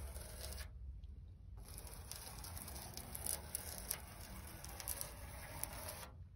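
Long pointed red nails scratch and drag across the corroded surface of a large, flat rusted steel sheet lying near yellow leaves. Quiet, gritty rasping runs over a steady low rumble, broken by a short gap near the start and sprinkled with brief, bright ticks.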